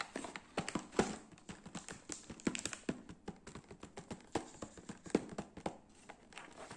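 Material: Cardboard.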